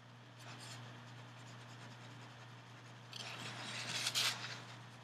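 A metal-barrel pen scratches across a small white paper card lying flat on a table, drawing cloud outlines while the other hand steadies the card. Soft, bright scratching strokes play over a steady low hum, growing rougher and louder toward the end with two sharper scrapes.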